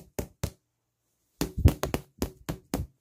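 A plastic object is knocked and tapped against the listener during a sensory exam, producing ten short, dull, low thuds: two early, then a pause, then a quicker run of eight. Each knock dies away almost instantly with little brightness, and the object is confirmed to be plastic, not metal.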